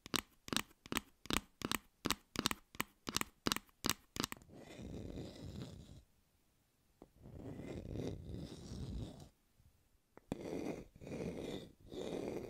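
Plastic fake fruit is tapped in a quick run of sharp, separate clicks for the first few seconds. This gives way to longer scratchy, crunchy rubbing passes separated by short silences.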